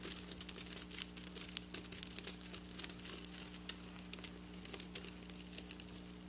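Long black nails on both hands are dragged over flat silver sequin fabric, making a dense, bright crackling and scratching with many quick, sharp clicks. A steady low hum runs underneath the whole time.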